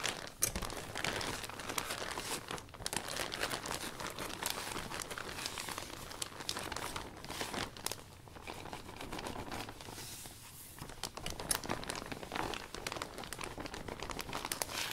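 A hand with a dark cloth wipes and rubs the thin plastic panel of a new, open iridescent vinyl umbrella from the inside, cleaning it down. The result is steady, bright plastic crinkling and rustling with sharp crackles throughout, easing briefly around the ten-second mark before picking up again.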